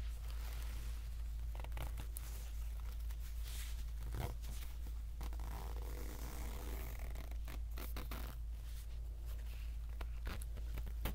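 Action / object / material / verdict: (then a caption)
scrape / polyester pencil pouch with plastic zipper / plastic, polyester / none. Fingertips drag the slider along the plastic zipper teeth of an empty orange polyester pencil bag that is partly unzipped into loose zipper strips. The result is a continuous, soft zipping and scratching texture with brief brighter rasps, over a steady low hum.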